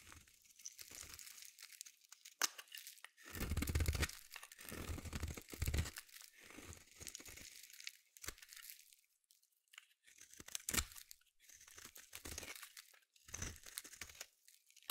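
A metal utility blade scrapes a solid orange bar of soap, producing bursts of dry, crunchy, tearing scrapes separated by short pauses. The scrapes are broadband and gritty, with a bright, hissy top and occasional sharp clicks as the blade catches.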